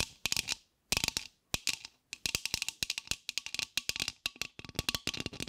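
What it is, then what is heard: Styrofoam heart. Long acrylic nails scratch and tap quickly across the surface of a solid, palm-sized white polystyrene foam heart held in one or both hands. Bursts of sharp, dry clicks separated by short pauses have a bright, crisp tone centred near 2.7 kHz, very little low end and no ring.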